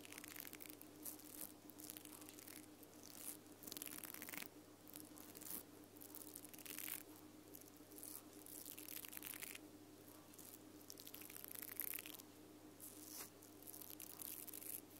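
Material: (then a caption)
Nylon, plastic. Long purple nails scratch and flick the bristle head of a small mascara spoolie brush with pink nylon bristles on a black plastic wand. Bursts of dry, bright, crackly bristle scratching come in waves over a steady low hum.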